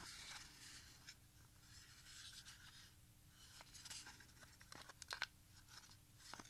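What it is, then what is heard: Plastic audio cassette being handled. A small, hollow Sony HF 90 plastic audio cassette with a clear, smoked shell and tape wound on two reels is held in both hands and turned and handled with the fingertips, while other cassettes lie still on a quilt nearby. Quiet, bright plastic clicks and light rattles come in short, sharp bursts over a soft, steady hiss and faint low hum.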